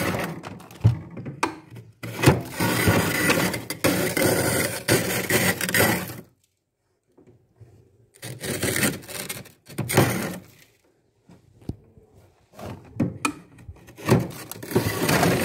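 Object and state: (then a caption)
Freezer frost scraped with a glass tumbler. A hand scrapes thick, flaky white frost from the ceiling of a deep freezer with the rim of a small clear glass tumbler, which fills up with frost flakes. The repeated scraping makes rough, broadband crunching bursts, broken by short silent pauses between passes.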